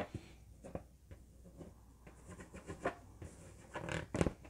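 An inflated, hollow yellow latex balloon lit by an LED is held in both hands and scratched and tapped with nails and fingertips. Quiet, dull rubbery scratching and rustling run throughout, broken by five short, muffled taps with a low, boomy body. The taps stop almost at once with little ring.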